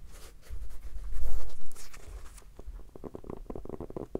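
A small, solid red hardcover notebook with a textured cover is held in both hands and tapped with fingertips and short nails. Soft, low, muffled thumps and rubbing swell louder in the first half, then give way to a quick run of short, dry taps.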